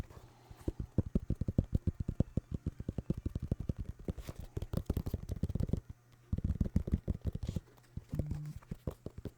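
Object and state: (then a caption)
Sneaker tapped. Rapid fingertip-style tapping on a New Balance sneaker made of synthetic leather with a rubber sole produces a dense stream of short, dry, muffled thumps. The sound sits almost entirely in the low range with no bright edge, and the taps stop briefly around the six- and eight-second marks before picking up again.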